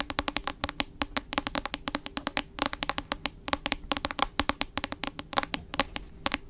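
A medium-sized hardcover book with a glossy cover, held upright in both hands, has its solid cover tapped with long acrylic nails. The result is a rapid, irregular stream of crisp, bright clicking taps that stop almost instantly, with quiet gaps in between and little low end.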